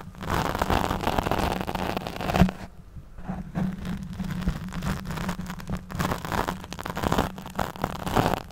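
Long nails scratch the back of a black foam windscreen fitted over a studio microphone. The result is a dense, crackling rustle with a steady low hum, pausing briefly near the middle before the scratching resumes.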